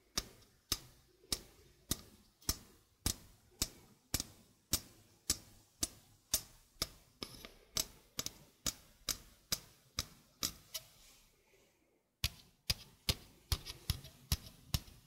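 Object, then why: Stainless steel mesh sink strainer. A stainless steel mesh sink strainer held close to the mic is tapped slowly with fingertips and nails, giving 31 crisp, bright, metallic ticks that die away almost at once. The taps keep a steady, clock-like rhythm, with a brief pause of about a second before they resume.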